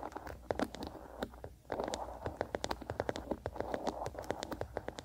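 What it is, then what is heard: Wooden bristle hairbrush. A small wooden bristle hairbrush is held on its side in one hand while the fingertips and nails of the other hand scratch and strum across its bristles. Dry, crackly scratching comes in quick, uneven bursts of short ticks, with bright clicks over a warm midrange rasp. The sound pauses briefly near the middle before the strumming resumes steadily.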